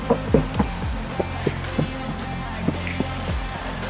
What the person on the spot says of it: kita ketok nih dia ... akan lebih padat panelnya